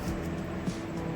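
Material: Nothing is struck.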